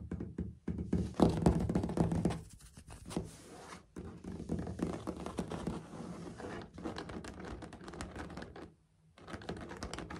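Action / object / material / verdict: tap / ceramic floor tiles with grout / ceramic / none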